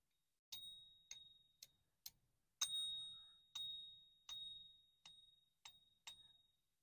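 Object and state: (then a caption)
Genuine silver bullion coin. A genuine American Silver Eagle silver bullion coin is given a ping test, ringing out ten times with a long, clear, high tone near 3.75 kHz that fades slowly after each tap. The coin had passed a Sigma test, and its ring confirms it as real.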